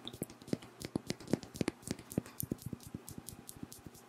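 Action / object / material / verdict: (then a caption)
tap / faceted glass perfume bottle / glass / none. A pink Versace Bright Crystal perfume bottle, a hand-sized faceted glass bottle with a crystal-style cap and filled with pink liquid, is held close to the mic while nails tap and scratch its faceted glass. Quick, dry clicks with a low thud body and bright ticks come in a steady, uneven run, with faint scratching between them.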